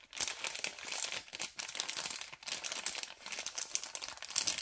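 Fingers twist and crinkle a white LDPE plastic packet of cable ties. A continuous run of bright, crisp crackles comes in uneven bursts with brief dips between them, almost entirely high-pitched with no low end.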